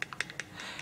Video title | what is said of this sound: Radiant Defense Review Rodan and Fields R+F | I like to shake it up. You hear the little clicking?